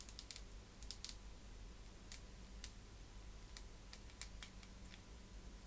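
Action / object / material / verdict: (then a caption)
tap / plastic vented hairbrush tapped with fingernails / plastic / none. Long manicured nails tap and scratch along the vents of a black plastic vented hairbrush with a hollow slotted back. The result is a scattered series of quiet, sharp, bright clicks and light scratches that die away almost instantly over a steady low background hum.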